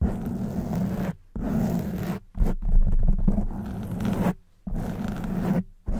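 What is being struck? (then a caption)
Foam microphone windscreen. Long white acrylic nails on both hands scratch a soft, porous black foam windscreen on a silver studio microphone. The result is a dense, low, rumbling scratch that runs in sustained bursts broken by brief silent pauses.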